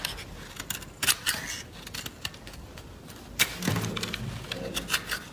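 An oval green bar of solid soap, held in the palm, is scraped and carved with a small blade by a hand wearing fabric finger guards, and flakes fall onto a wooden table. The clip is made of crisp, bright, dry scraping and cutting clicks that stop quickly, with a few sharper snaps and some soft low-pitched rumbling partway through.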